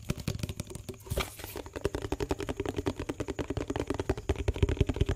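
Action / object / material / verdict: tap / small plastic tub with lid / plastic / none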